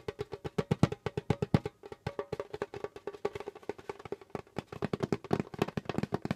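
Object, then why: Djembe drum skin head. Fingertips of both hands drum and tap rapidly on the pale skin head of a djembe, making a dense stream of short, dry, woody hits. The hits have a low body around 156 Hz and a steady mid tone near 400 Hz, and each dies away almost instantly with little bright content.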